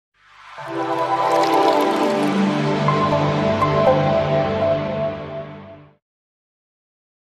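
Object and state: Nothing is struck.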